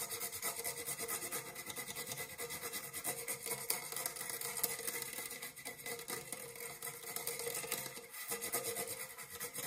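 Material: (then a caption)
Metal. An empty dark metal springform cake pan rests on one palm while fingernails scratch along its ribbed side wall. The result is a continuous bright, rasping scrape with a faint metallic tone around 470 Hz and many quick, closely spaced strokes.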